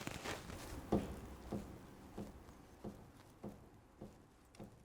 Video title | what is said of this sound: Pitman and Idler Arm Replacement to get Show Ready! - RA28 Fastback Celica (Part 16) | it's a fairly significant knock it feels like the ball joint is actually moving around in the housing